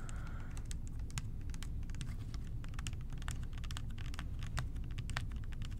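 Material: Plastic.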